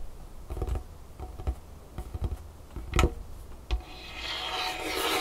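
Painted fingernails and fingertips on both hands tap and scratch a large, solid, dark wooden tabletop. Six short, dull taps are heard, with the loudest near the middle. A bright, hissing scratch then builds steadily toward the end.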